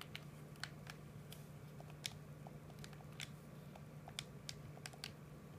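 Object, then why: Hard plastic game controller buttons. A PS4 controller, hollow hard plastic held in both hands, is tapped and clicked with the thumbs on its buttons. Short, sharp, bright plastic clicks come at an uneven pace over a steady low hum, each dying away almost instantly.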